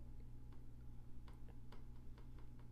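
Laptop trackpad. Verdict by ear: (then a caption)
Loose. Tapping on the trackpad of a Lenovo Legion 5 Pro laptop, which sits unevenly and is loose on one side, produces a series of faint, clicky ticking rattles over a steady low hum. The trackpad visibly moves when tapped, making this a defect rather than a design choice.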